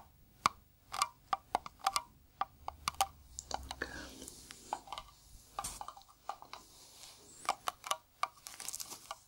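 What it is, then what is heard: Metal cream tin tapped. Gloved fingertips tap a hollow, round blue metal cream tin of the Nivea type, held in gloved hands. The result is a quick, irregular series of short, dry taps, each with a faint metallic ping around 1.1 kHz that dies away almost instantly. Softer brushing and handling sounds fill the gaps between taps.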